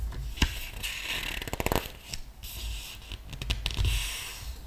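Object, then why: Paper art book. Fingertips of a flat hand rub across the glossy paper page of a large open art book while the other hand lifts and turns a page. Soft, bright scratchy rubbing builds into a quick run of crisp, papery ticks as the page flips, then gives way to more gentle swishing and rustling against a low background rumble.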